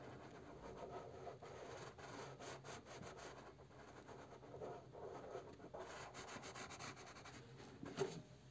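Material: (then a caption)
Cardboard. A purple crayon rubs and scribbles over the bear's face printed on a cardboard box resting on a wooden table. Repeated strokes make a steady, dry, scratchy rubbing with a mid-low body and faint bright grain. One stroke near the end is slightly sharper than the rest.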